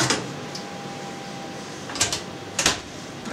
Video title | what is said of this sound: Французкий хлеб с луком и сыром Подробный видео рецепт | глухой звук такой вот как пустотелой